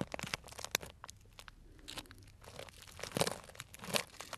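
A small, tied, clear plastic cellophane bag full of dried tea pieces is squeezed with the fingers, making crisp, bright crunching and crinkling. Sharp crackles come in irregular bursts, with a quieter lull in the middle and louder crunches toward the end.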